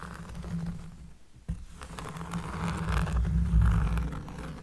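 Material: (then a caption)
Cork. A cork surface is scratched up close, producing a deep, bassy scraping sound. The scratching continues with a brief pause near the middle, then builds louder toward the end.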